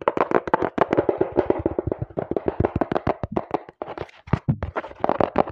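Fingers rapidly tap and knock on the flat faces of a small, hollow brown cardboard box held in both hands over a microphone. The result is a fast, dense stream of dry, hollow mid-pitched knocks that die away almost instantly, with brief pauses near the end.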